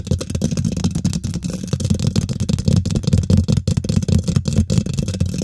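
Both hands use long nails and fingertips to scratch and tap quickly on the domed, hollow woven metal mesh grille of a large silver condenser microphone. The result is a dense, continuous stream of rapid scratches and taps with a heavy, boomy low thump and a dry, rattling texture on top.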